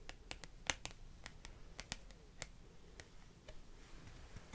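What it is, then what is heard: Laminated card bookmark. Long green-painted nails tap and scratch the surface of a small, flat, glossy laminated card bookmark with pink and green illustrated art, held in one hand. Quiet, sharp, bright clicks with almost no ring are scattered irregularly through the clip, over a soft low rumble and light scratching that fills the final second.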